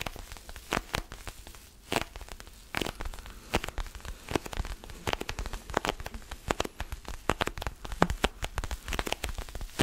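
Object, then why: Small rubber mini basketball. Fingertips and nails scratch and tap the pebbled rubber surface of a small orange mini basketball with black seams, held close to the microphone. It makes a dense run of sharp, crackling clicks and taps over a soft, steady scratching hiss. Each tap is very short and dies away almost at once.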